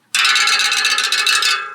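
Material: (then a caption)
Steel. The steel spokes of a spinning bicycle wheel are plucked in quick succession, giving a bright, high-pitched, musical ringing centred around 2.2 kHz that sustains for over a second before fading. The clear ring shows the spoke tension is good and properly set.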